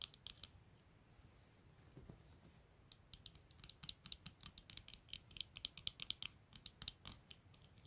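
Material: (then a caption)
Plastic. Long nails scratch and tap quickly across the clear lenses and black plastic frame of a pair of eyeglasses lying on a blanket. It starts as quiet, sparse scratching, then becomes a dense run of sharp, bright, dry clicks with almost no ring or low end.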